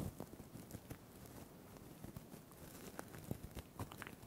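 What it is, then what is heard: Plastic sequin crinkle toy. Fingertips grip and squeeze a small, soft, hand-sized crinkle toy covered in iridescent blue and green plastic sequins, held close to the microphone. The sequins and crinkly filling give a quiet, steady crumpling rustle, broken by scattered soft, short clicks and ticks.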